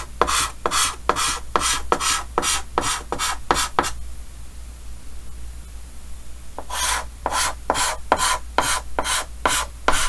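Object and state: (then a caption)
Chalk scratching on a chalkboard. A red chalk stick scratches repeated short hatching strokes across a large, flat, dark green chalkboard in a wooden frame. About twenty quick, bright, raspy scrapes come in a steady rhythm, with a quiet pause of a few seconds in the middle where only a low hum and faint hiss remain.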